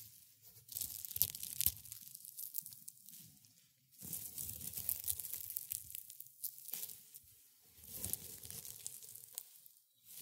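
Hands in gray and black felt gloves squeeze and rub dried rosebuds and petals on a white cloth, giving crisp, crumbling crackles. The dry, bright rustle comes in three long bursts separated by short quiet pauses, with a faint low rumble beneath the crinkling.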